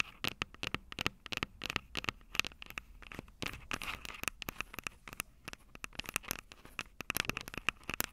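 Long purple nails tap and scratch the metal microphone capsules of an upright Tascam DR-05 recorder. A rapid, uneven stream of sharp, dry clicks and scratchy rasps comes through bright and close, with a thin metallic tone near 2.6 kHz in each tap and almost no low end.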